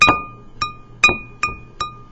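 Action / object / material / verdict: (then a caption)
tap / glaze-fired ceramic bowl / ceramic / sound. A finished, glaze-fired ceramic bowl is tapped five times with a finger, each tap giving a clear, high-pitched ring around 2.5 kHz that fades quickly. The bright ring marks it as a completely fired, sturdy piece of pottery.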